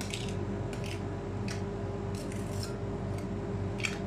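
A gloved hand scrapes and spreads a thin layer of chocolate ice cream base across a large, round, solid stainless steel cold plate with a metal spatula, making rhythmic tapping. Short, bright metallic scrapes and taps come in bursts over a steady low hum.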